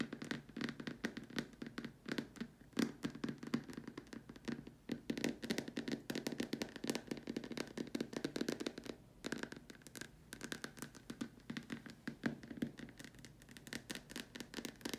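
Long nails tap rapidly on the far top edge and the sides of a large, empty, white hollow plastic dome lamp shade, with the hands partly hidden behind it. The result is a quiet, continuous stream of dense, crisp clicking taps with a hollow low-mid tone and almost no ring after each tap.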